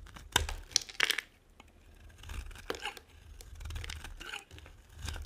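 A metal blade carves and scrapes shavings off a solid, dry pink and white bar of soap. Sharp, bright scrapes and crisp tearing crackles come in quick bursts, separated by softer, rasping passes of the blade, with little low-end weight.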